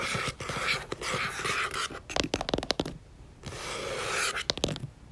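Long nails tap and scratch quickly across the paper cover of a yellow paperback book lying flat and closed. Bright, papery scratching sweeps alternate with bursts of quick, sharp taps, then a brief quiet gap before the scratching returns.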